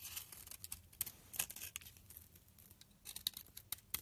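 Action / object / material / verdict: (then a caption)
scrape / soap bar shaved by a knife blade / soap / none. A utility knife blade shaves thin layers and powdery flakes off a solid pink bar of rancid soap held in the hand. It makes quiet, bright, dry scraping with a string of sharp crisp ticks and very little low end.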